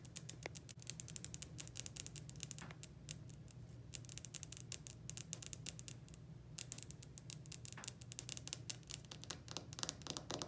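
Long pointed blue acrylic nails tap and scratch across a polished, dark speckled granite countertop, a solid slab. Rapid, crisp, bright clicks and short scratchy strokes come in dense bursts over a steady low hum. Each tap dies away instantly with no ring.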